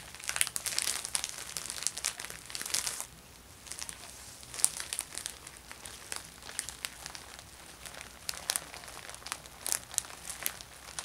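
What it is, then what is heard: Plastic shopping bag. A thin, empty orange plastic Ulta Beauty shopping bag is pressed flat with fingertips, then picked up, held and crinkled in both hands. Bright, dry crinkling and crackling fill the first three seconds. Quieter rustling follows, broken by sharp, high crackles with almost no low end.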